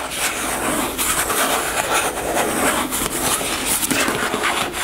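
Long nails scratch and tap along the printed surface of a white plastic cosmetic gel tube held sideways in both hands. The result is a steady, dense scratching and rubbing texture with a bright, hissy edge and almost no low end, with faint taps mixed into the continuous scrape.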